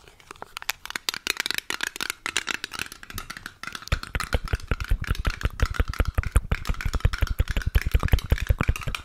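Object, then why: Small filled metal cream tin, lid tapped and scratched with fingernails. A small, round, filled Balea care-cream metal tin with a pink printed lid is held close and tapped and scratched on the lid with long nails. The first few seconds bring light, bright clicking and scratching; then it shifts into rapid, steady tapping with a dull low thump under each short, dry tick.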